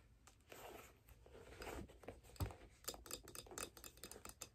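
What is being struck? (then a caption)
Figure skate with steel blade, metal plate and wooden sole. A figure skate held upside down, with a steel blade, an aluminum mounting plate with screws and a wooden sole, is tapped and scratched by long nails on the plate and blade. Soft, low-level scratching and rubbing gives way to a run of sharp, bright metallic ticks and clicks that stop quickly with almost no ring.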